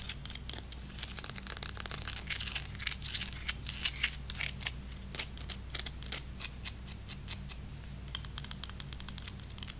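A single long, dry baked breadstick with a solid crunchy crust is held in one hand and tapped and scratched with long red, black and glitter acrylic nails. Many quick, bright, dry clicks and crackly scratches follow one another over a steady low hum. The breadstick sounds crunchy.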